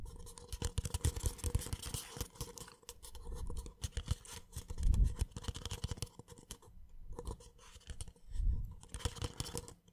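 A small, empty white paper cup, hollow and held sideways, is tapped and scratched with the fingertips on its base and wall. Dense, uneven patters of soft taps and scrapes carry a dull, low hollow thump, with occasional louder knocks and bright, crisp scratching.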